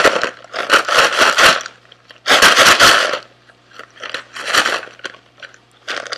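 Fingernails tap and scratch a small sealed SweetTarts cardboard box with candy inside, held in both hands. Dry, bright, crinkly bursts of scratching and clicking come in uneven clusters separated by quieter gaps. A faint low steady hum runs underneath.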